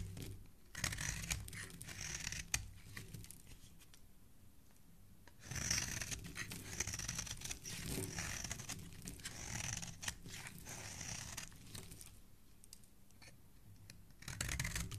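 A metal blade repeatedly scrapes and shaves flakes from the edge of a solid red bar of soap held in the hand. Quiet, crisp scraping strokes come in uneven bursts with a bright, papery rasp, separated by softer pauses.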